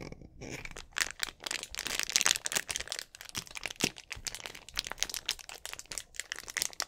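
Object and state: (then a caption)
Plastic drink bottle. A clear, hollow, mostly empty plastic drink bottle with an orange cap is held in both hands while fingertips squeeze and crinkle the plastic. The result is a steady run of bright, crackling crinkles and sharp snaps with almost no low end, each dying away instantly.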